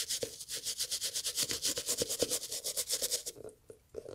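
A hollow, empty brown leather loafer with beige textile panels is held in gloved hands while a toothbrush scrubs its fabric panel. Quick, bright, hissing back-and-forth brush strokes come in a steady run with a faint hollow knock beneath, then thin out and stop near the end.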